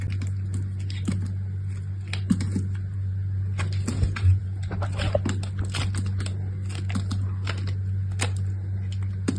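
A solid rectangular bar of purple soap with a brown layer, held in fingers with long manicured nails, is cut and scraped by a metal box-cutter blade with an orange handle. Thin shavings fall onto a pile of soap pieces. Crisp, crackly scraping and snapping ticks come in quick irregular bursts over a steady low hum.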